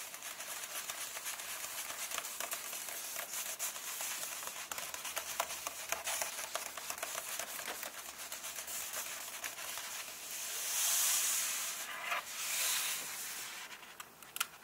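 Fingertips and nails tap and rub across the paper pages of an open softcover comic book, making quick, dry crinkling taps and scratches. The sound is high and bright with no low end. Around 11 and 13 seconds it swells into louder, hissy rubbing.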